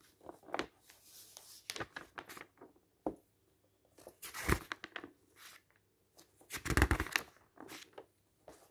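Fingers flip through the pages of a matte and glossy paper magazine held open, making a shuffling, crinkly rustle. Soft, irregular page sounds alternate with short silences, with louder, fuller turns near the middle and end.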